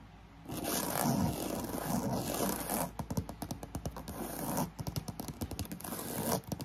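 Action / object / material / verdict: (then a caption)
scrape / croc-embossed faux leather handbag / faux leather / none. Long nails scratch rapidly across a black croc-embossed faux leather handbag, first while it lies flat and then with its side panel held upright, as a fan hums steadily in the background. Dense, continuous scraping gives way to a fast run of short, distinct raspy strokes, then returns to a steady scratch near the end.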